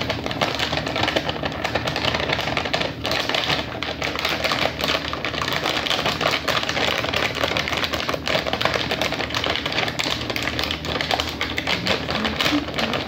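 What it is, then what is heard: Plastic candy bag. A medium, soft, flexible orange plastic Reese's Cluster Bites candy bag, filled with candy, is held in one hand and tapped and gripped with long fingernails. The result is a steady, dense stream of quick crinkling taps and rustles with a bright, crisp edge and no pauses.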